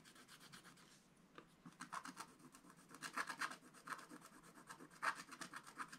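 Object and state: Scratch-art paper page being scratched.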